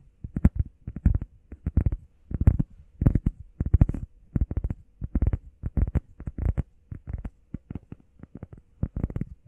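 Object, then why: EVA foam pad. Long painted nails and fingertips rapidly tap and scratch a flat, solid, hand-sized grey textured EVA foam workout pad shaped like a heart. Quick clusters of soft, dull, low thuds come in irregular bursts, with faint scratchy texture and no ring.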